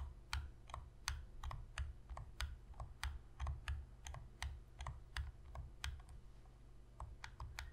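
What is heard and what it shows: Long pink fingernails tap the shoulder triggers and front of a hollow black plastic Sony PS3 controller held on edge. Quick, irregular, sharp plastic clicks with bright, crisp tops sound over a steady low hum, each one dying away almost instantly.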